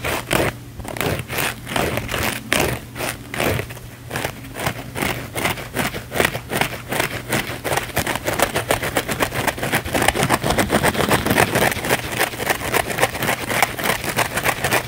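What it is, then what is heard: Foam sponge being scratched. A thin, flexible blue foam sponge held in both hands is scratched and squeezed with fingertips and nails. Fast, raspy scratching bursts repeat over a faint low hum, growing quicker, denser and slightly louder in the second half.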